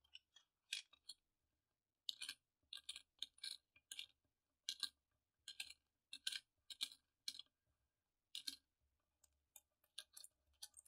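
Fingertips pick up, place and click solid silver- and bronze-coloured metal coins together while counting them in rows on a purple cloth. The result is quick bursts of short, bright, dry metallic clicks and light clinks centred around 3 kHz, with almost no ring, separated by brief pauses.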